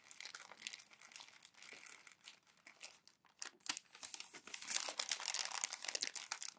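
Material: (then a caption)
Glossy paper. Glossy magazine pages are crumpled and pleated by hands with long nails. A quiet, dense crinkling of bright, dry paper crackles comes in uneven bursts, with almost no low end and no ring. It grows fuller and louder in the second half.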